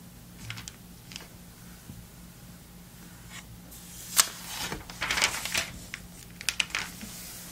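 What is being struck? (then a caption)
Glossy paper magazine pages. Fingertips turn and flip the thin, glossy, flat and bendable paper pages of an open vintage November 2002 Sports Illustrated magazine. Soft, bright crinkling page-turn rustles come in irregular bursts over a faint low hum, with a sharp snap of a page near the middle followed by a longer crinkle and a few quick flicks toward the end.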